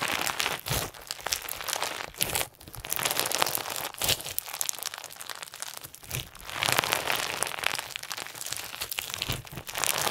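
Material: Slime, plastic.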